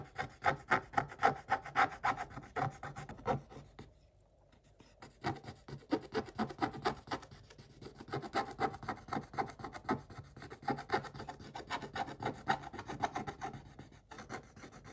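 A wooden stick scrapes the black coating of a scratch-art paper book page, scattering flakes. The result is a steady run of short, dry scratching strokes with a raspy mid-range tone, broken by a brief pause near the four-second mark before the scraping resumes.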